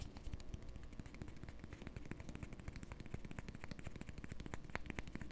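A small, round, flat, solid cork disc held in the fingers is tapped and scratched with the fingertips and nails. The result is a quiet, continuous stream of rapid, dull, low-heavy taps mixed with short, scratchy clicks, each dying away almost instantly.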